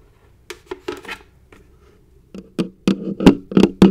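A large, hollow, likely empty orange plastic coffee canister, first held upside down and then upright, is tapped with long acrylic nails and fingertips. About ten short, dry taps and clicks land at an uneven pace, each carrying a brief hollow body tone around 270 Hz with a bright clicky edge. The early taps are soft and sparse, and the later ones grow louder and fuller with almost no ring after each hit.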